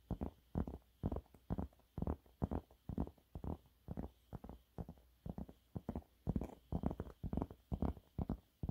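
A yellow waffle-textured cleaning cloth is held upright and scratched quickly with the nails of both hands. Short, dry, low-heavy scratching bursts repeat at a fast, uneven pace, about two per second, with almost no ring after each stroke.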